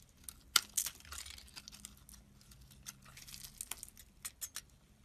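A metal blade scrapes and slices chunks off the surface of a solid oval orange soap bar held in hand. Quiet, bright, crisp scraping and crackling cuts come in short bursts, the sharpest near the start. Each cut stops almost instantly with no ring.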